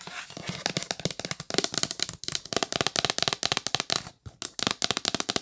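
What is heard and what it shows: Long nails tap fast on the lid of a hollow yellow L'Occitane cardboard box, near the logo and along the top edge. Around 28 quick, dry, bright clicks with almost no low end or ring follow one another in a dense stream, with a brief pause near the end.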